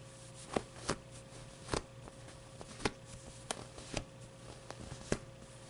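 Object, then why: Stuffed polyester plush toy. Fingertips rub, squeeze and scratch the surface of a medium-sized, stuffed (not hollow) avocado plush toy with smooth white-green polyester fabric and a fuzzy orange pile pit. About eight soft, dry scratchy bursts stand out at an uneven pace over quiet continuous rubbing, with a faint steady hum underneath.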